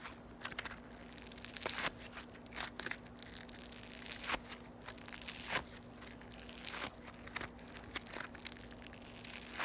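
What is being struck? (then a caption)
Foam beads in slime. A small, solid lump of yellow floam (foam beads in slime) is squeezed and crushed between the fingertips and long nails of both hands. It makes dense, bright crackling and crunching with sharp pops scattered throughout, over a faint steady low hum.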